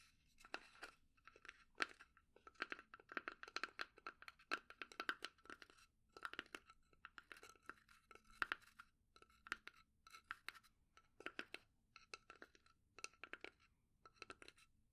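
A small hollow pine wood box is held in both hands and tapped with fingertips and nails while its wooden lid shifts. The result is a quick, dry stream of crisp clicks and knocks in clustered bursts, bright and woody around 1.5 kHz, with almost no low end and very short ring.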